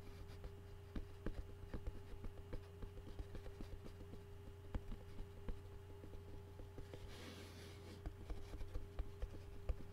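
Short fingernails scratch and tap the flat bottom of a white pressed-paper takeout bowl held upside down, hollow and empty. Quiet, dull clicks and soft scratches sound over a steady low hum. A brief, brighter rustling scrape comes near the end before the tapping resumes.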